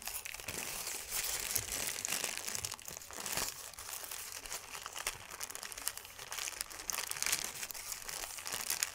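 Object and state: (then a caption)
Paper sheet being crumpled. A thin white paper sheet is folded and crumpled with the fingers and palms. It makes a continuous bright, crisp crinkling with dense crackles and little low end. The sound runs at a steady level for the whole nine seconds.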